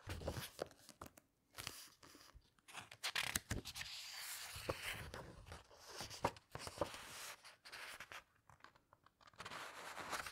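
Long red nails and fingertips rub, squeeze and turn the glossy illustrated paper pages of a large, thick hardcover book. Bright, crisp rustles and crinkles come in uneven bursts with short quiet gaps between them, mixed with softer scratchy rubbing and a few sharp paper ticks.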